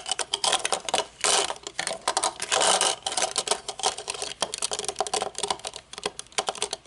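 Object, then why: Metal-frame sunglasses with dark lenses. Long nails tap rapidly on the metal bridge, hinges and dark lenses of a pair of metal-frame sunglasses, first lying on a table and then held up. The result is a dense run of short, dry, bright clicks and ticks with almost no ring and no low end, broken by a few louder bursts of quick fidgeting.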